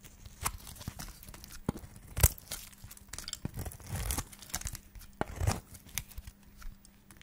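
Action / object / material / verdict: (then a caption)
scrape / bar of soap scraped with a metal blade / soap / none. A solid white dry soap bar, held in the fingers, is scraped with a flat metal blade into thin slices. The clip is a series of short, dry scraping and tearing crackles with bright, crisp edges, some louder than others, over a faint steady low hum.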